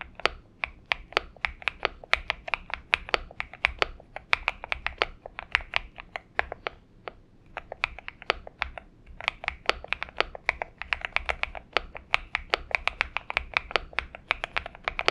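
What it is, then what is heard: Mechanical keyboard with PBT keycaps. Fingertips of both hands type continuously on a purple Xinmeng M71 mechanical keyboard with PBT keycaps. A rapid, uneven stream of short, bright keystroke clacks centers around 2.4 kHz, each dying away almost instantly, over a faint low background hum.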